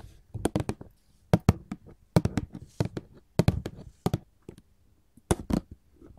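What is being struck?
Paperboard candy box.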